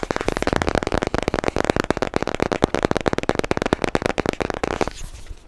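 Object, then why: Cardboard product box. Short bare nails rapidly tap and scratch a long, narrow, hollow white cardboard product box tilted in the hands. The result is a dense, crackly stream of dry, hollow clicks with a papery scratch that runs steadily for about five seconds, then drops to quiet.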